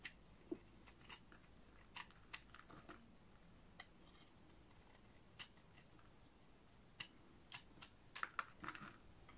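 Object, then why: Bar of soap. A solid green oval bar of dry soap is scraped with a utility knife blade held close to the fingers, building up crunchy flakes. Short, sharp crunching scrapes rise over a quiet background, with bright crackle and occasional clusters of quick strokes, especially toward the end.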